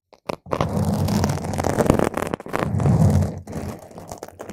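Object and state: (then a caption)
Foam microphone windscreen being scratched. Long pointed nails scratch and poke at a round purple foam microphone cover, one nail at a time. The result is a close, dense, crackly scraping with a heavy low rumble. It builds in two long swells, then fades to quieter scratches.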